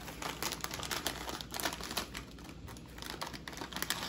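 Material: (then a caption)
Metallized plastic. A small yellow Lay's Baked chips bag of foil-lined, metallized plastic film, partly full of chips, is held in both hands, pulled open, and crinkled and rustled by the fingers while other sealed bags sit untouched on a plate. The result is a steady run of sharp, bright crackles and dry rustling with brief louder snaps, each sound dying away almost at once.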